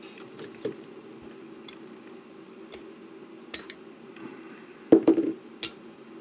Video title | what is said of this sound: The BEST CHEAP All-in-one 18650 Spot Welder? | So you can hear that stuck really well. 0.1 millimeter, it's bang on.